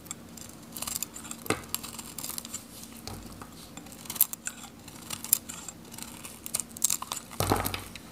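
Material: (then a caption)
Soap. A metal utility knife scrapes a dry, solid, hand-held orange soap bar with a teal interior, shaving off brittle teal flakes. The sound is a string of dry, crisp scraping strokes and bright crackles, with a few louder rasping bursts and a faint steady low hum underneath.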